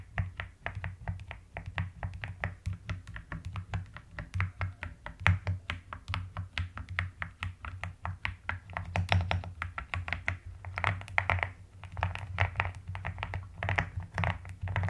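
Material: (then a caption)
Plastic. A pastel plastic mechanical keyboard is typed on with both hands, long nails tapping the plastic keycaps. Dense, rapid clicky taps run throughout over a steady low hum, with short bright clacks.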